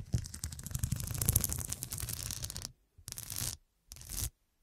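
Long dark nails tap and scratch the square faceted glass studs covering a fabric cushion, seen from the side. A dense, rapid run of clicky scratching with bright, crisp highs and a low thump underneath lasts nearly three seconds, then stops. Two shorter bursts of scraping follow, each separated by silence.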